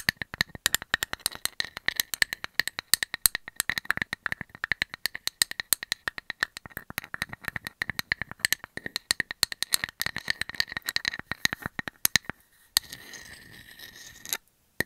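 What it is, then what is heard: Painted wood slice tapped with nails. A solid, painted round wood slice held in the hand is tapped rapidly with long metallic nails, giving a dense run of sharp, dry clicks with a bright ring. Near the end, the tapping gives way to a soft, hissy scratching of the nails across the surface, then a brief silence.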